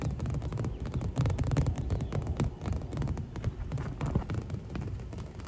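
Both hands with long nails tap and scratch the vinyl of a clear and green inflatable pool lounger, hollow and air-filled, held close. Dense, rapid, dull thumps with a low hollow boom blend with soft scratching, each tap dying away almost at once over a steady, throbbing bed.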